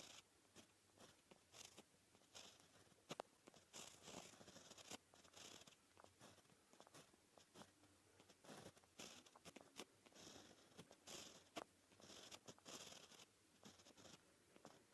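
A white gel pen tip scratches across a flat, solid black paper sheet while writing Japanese characters. Soft, bright, scratchy strokes come in short bursts separated by brief pauses, with quick ticks as the tip lifts and lands. The sound is quiet and dry, with no ringing after each stroke.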